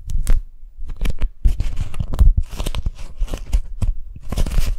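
Long nails and fingers peel the sticky folds of a pink strawberry-print beeswax-coated cotton food wrap apart and open it flat. A quick run of crisp, tearing crackles and crinkles is heard, with bright edges over a soft low thump. The bursts come in irregular clusters, with brief quiet gaps between them.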